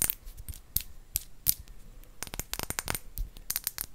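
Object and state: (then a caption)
Empty square glass bottle. Long acrylic nails tap a faceted, square, clear glass bottle that is hollow and empty. The result is a quick series of sharp, bright clicks with almost no ring, some faster and clustered together, each with a glassy high-frequency tick.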